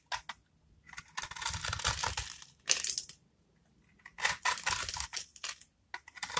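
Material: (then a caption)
Soap. A metal craft-knife blade scores and scrapes the surface of a solid, dry, rectangular blue-and-white striped bar of soap held in the palm, cutting it into small cubes that crumble off. Bursts of dry, bright, crunchy scraping and crumbling come in uneven runs separated by short pauses, with very little low end.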